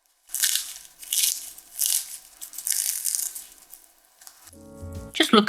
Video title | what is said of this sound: Crispy Outside Soft Inside Perfect Meat Potato Pie | এটি একই সাথে কতটা নরম এবং মুচমুচে